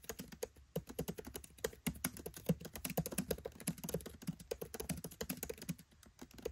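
Fingertips type rapidly on the black plastic keycaps of a MacBook Pro 13 keyboard set in an aluminium body. About forty-three short, soft clicks and taps come in quick, uneven bursts with little ring. The sound is muted and low-weighted, with a faint bright tick on each keystroke.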